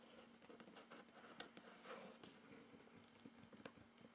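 Fingertips tap and scratch across the label and top of a medium, closed, hollow corrugated cardboard shipping box, with the hand possibly holding a small item. The result is a quiet, dry patter of soft taps and brushing scratches with brief bright flicks and almost no low end.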